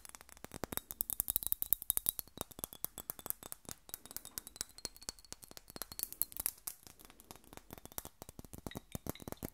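A small square Miss Dior perfume bottle of thick glass, with a metal cap and a fabric bow and about half full of pink liquid, is held in one hand and tapped and scratched on its glass body with long acrylic nails. Dozens of quick, dry clicks and taps come in rapid bursts, each very short with almost no ring, bright and glassy on top over a soft scratchy texture and a faint steady high tone.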